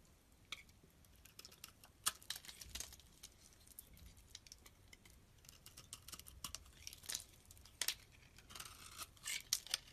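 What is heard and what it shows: A metal blade shaves the rounded surface of a solid pink oval bar of soap held in hand. The result is quiet, bright, dry scraping and crisp crackling strokes, with short flicks that cut off almost instantly and very little low end.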